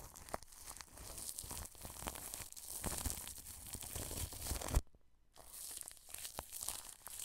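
A wide, flat paintbrush brushes across clear plastic cling film stretched over a microphone head, making close, dense crinkling and scratchy rustling with a deep rumble underneath. The brushing runs continuously, then stops for about half a second of near silence before resuming with the same crinkly texture.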